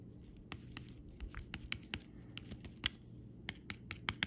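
A metal pen tip traces and scratches along the outlines of raised, glossy plastic butterfly stickers on a flat sheet with a clear plastic backing, lying on fabric. About fifteen short, bright clicks and ticks stand out over a soft, continuous scratching hiss.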